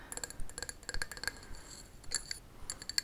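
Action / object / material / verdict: tap / pot / unknown / none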